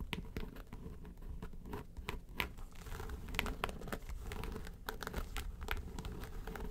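Long pointed nails tap and scratch the lid of a flat, hollow yellow case with a textured faux-leather covering. Crisp, bright clicks and taps stand out over a steady scratchy, crinkling rasp and a low rumble. Each tap dies away quickly.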